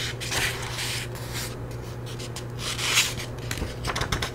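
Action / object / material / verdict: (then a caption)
scrape / paperback book paper pages / paper / none. Long-nailed fingers rub and scratch across the yellowed paper pages of an open paperback book held up in the hands. The result is a continuous dry, bright scratching hiss in soft swells, with a sharper scrape near the three-second mark and a steady low hum underneath.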